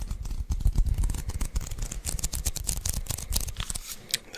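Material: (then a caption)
Adhesive paper. A handheld lint roller with a white adhesive paper roll on a grey plastic handle is tapped and peeled by fingertips close to the mic. Rapid, dense sticky taps and tacky peels with a deep low thump carry bright crackling edges. The taps run continuously without a clear pause.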